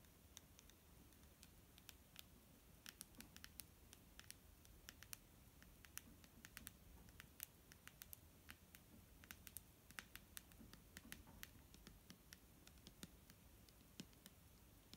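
Long nails tap the body of a large, clear plastic micellar water bottle, held in hand and full of foamy liquid. Quick, irregular, bright clicks sound over a soft, low background hiss. Each tap is short and dry, with no ring after it.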